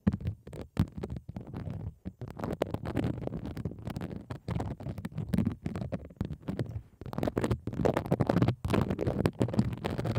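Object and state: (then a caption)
Plastic bubble wrap. A pink plastic bubble wrap sheet is laid over the microphone while one hand scratches and taps the bubbles with long acrylic nails. The result is a dense stream of soft, low, rumbling scratches and quick muffled taps, with little high-end brightness.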